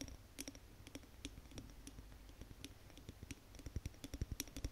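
Long nails tap fast on the glass body of a large Yankee Candle glass jar filled with wax, held in both hands. It makes a quick, uneven run of short clicky taps with dull low thuds underneath and a bright tick on top. Each tap dies away almost at once, and the sound stays quiet throughout.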